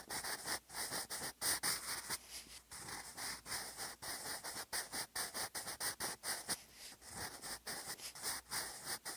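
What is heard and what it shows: A sharpened wooden graphite pencil, held in the fingers, writes cursive on a lined grey paper notebook page lying flat on a desk. The pencil lead makes a rapid series of short, dry scratching strokes separated by brief pauses. The sound is bright and hissy, with almost no low end.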